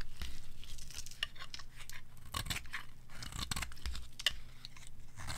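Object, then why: Soap bar. A palm-sized, black-and-white striped bar of dry solid soap is held in the hand and shaved into flakes with a metal blade. Quick, dry scraping and crunching strokes follow one after another, with bright crackly edges over a steady low rumble underneath.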